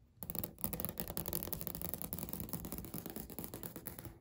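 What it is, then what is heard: Laminate countertop tapped with fingernails. Natural fingernails on both hands tap rapidly across a large, flat, beige speckled laminate countertop. The result is a dense, continuous patter of short, dry clicks with a low, hollow body and little ring. The tapping eases slightly toward the end as the hands pull back, then stops.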